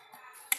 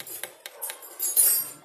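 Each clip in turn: First: carbon fiber bicycle fork, dull tap. Second: aluminum bicycle fork, sharp metallic ring.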